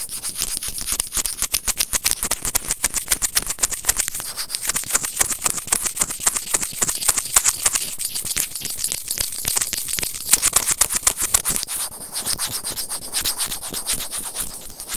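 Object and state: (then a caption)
Plastic earphone microphone remote. Serrated plastic tweezers rub and scratch a small, hollow, white plastic earphone inline microphone remote. The result is a rapid, uneven stream of crisp, bright scratching clicks over a high hiss, each tick dying away almost instantly. It continues steadily throughout, with slightly softer patches near the end.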